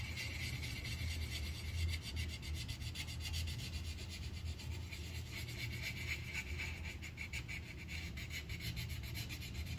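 The tip of a yellow wooden colored pencil scratches and rubs across a thin white paper sheet on a clipboard, filling in a petal. A steady run of quick, bright, raspy strokes sits over a soft low rumble for the whole clip.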